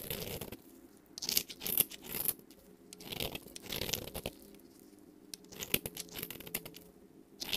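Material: Soap.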